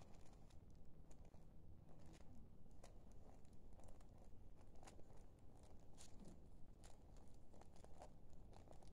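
A small, thin sheet of paper folded in half is held in both hands while the fingertips fold, rub and crinkle it throughout. It is heard as a quiet, steady stream of soft rustling over a low rumble, broken by many short, crisp crackles with bright, dry ticks that die away almost instantly.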